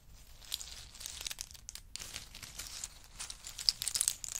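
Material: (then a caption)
Nut shell. Two small wooden spoons stir and scoop through a heap of in-shell pistachio nuts in hard shells on a fur mat. The shells make a dense, bright clatter of short clicks and crinkly rattles that rises and falls over the clip, with a few sharper clacks near the end. There is no ringing after each click.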